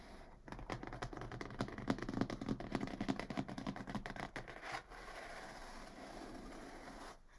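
Long fingernails scratch rapidly along the top of a medium, closed, hollow brown corrugated cardboard box. They make a dense run of dry, rasping strokes with a low, hollow body. After about five seconds the scratching stops, leaving a steady soft hiss that fades out near the end.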